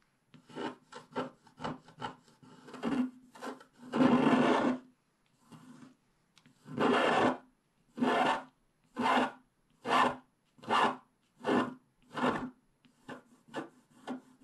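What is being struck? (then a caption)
Coated scratch-art paper page. A wooden stylus scrapes the black coating off the unicorn body on a flat scratch-art paper page. It makes a run of quick, dry scratching strokes mixed with longer, louder rasping scrapes, each separated by brief pauses.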